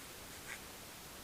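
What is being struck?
Nothing is struck.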